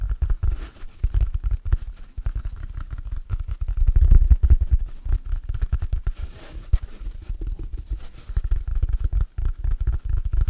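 Fingertips rapidly scratch and tap the surface of a large, stiff, dry, oval yellow porous synthetic foam sponge held close to the microphone. The result is a dense, uneven stream of short, soft, low thuds and scratchy rustles with almost no ring.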